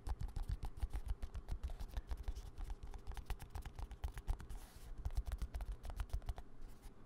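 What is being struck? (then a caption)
Small squeezable plastic cosmetic tube. A small green-and-white squeezable plastic cosmetic cream tube is held in one hand and tapped and scratched with the fingertips and nails of the other hand, close to the mic. The result is a rapid, steady run of short, dry taps and scratchy clicks with low thuds underneath and almost no ring.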